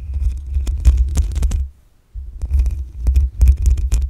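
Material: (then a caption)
Metal mesh. Long acrylic nails scratch the black metal mesh grille on the hollow head of a desktop condenser microphone. This produces a heavy, low rumbling scrape with bright, crackling clicks. The scratching stops briefly to near silence, then resumes just as loud.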